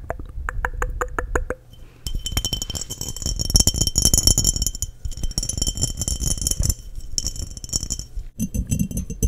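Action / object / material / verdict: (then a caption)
tap / glass mason jar / glass / none. Long nails tap the sides of an embossed, clear, hollow and empty glass mason jar held in both hands. Short, bright glassy clinks come in quick runs, at first as a steady rhythm and then as a dense flurry with soft low thumps under the high ring. Each tap dies away almost at once, and the taps pause briefly twice.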